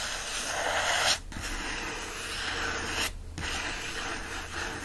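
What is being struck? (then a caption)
Paper pages of a hardcover book. Fingertips rub and scratch the paper pages and page edges of an open hardcover book resting on a blanket. The result is a steady, bright, dry scratching hiss that breaks off twice in short pauses before resuming.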